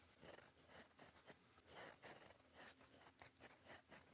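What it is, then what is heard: Pen nib scratching paper. A fountain pen's gold metal nib, held in fingers, scratches across a flat sheet of cream lined paper on a desk while writing cursive. Quiet, dry scratching strokes come in short bursts and pauses, with a bright, airy texture.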